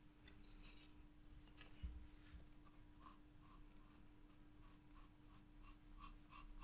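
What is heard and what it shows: A wooden graphite pencil traces lines on a spiral paper sketchbook page, making a gentle, soft scratching of pencil on paper. The quiet, bright strokes repeat over a steady low hum.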